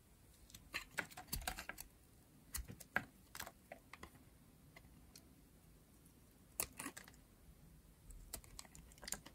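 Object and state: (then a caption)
Dry bar soap. A metal utility blade shaves a pink, rectangular dry bar of soap with a green edge in short strokes. Each stroke gives a quick, dry, crisp scrape or crackle, bright and brief with almost no ring. The scrapes come in irregular clusters separated by quiet pauses.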